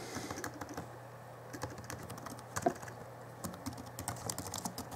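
Fingertips type on the backlit plastic keys of a small 2011 Alienware M11x R2 laptop keyboard, producing a steady run of short, light clicks and taps. The keystrokes come in bursts with brief pauses, and one stroke near the middle lands noticeably harder than the rest. A faint low hum sits underneath the typing throughout.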